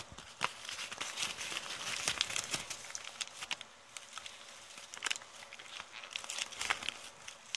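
Fingers with long painted nails crinkle and scratch a heavily crumpled, thin brown kraft paper bag held close up. The sound is a steady run of bright, dry crackles and rustles with sharp, quickly fading snaps and almost no low end.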